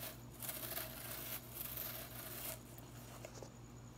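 Long nails rake and scratch through the plastic bristles of a blue synthetic broom head held low. Two bursts of bright, crackly rustling stand out, each about a second long, over a steady low hum. The sound then falls to softer scratching with a few faint ticks.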